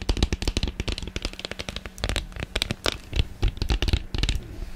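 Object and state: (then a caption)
Plastic ice cube tray. Long painted nails tap and scratch fast across the ribbed underside and cells of an empty, hollow blue plastic ice cube tray, about 25 cm long, held in one hand in front of the microphone. A rapid, uneven stream of dry, clicky taps with bright edges and low thumps sounds, each dying almost instantly with no ring.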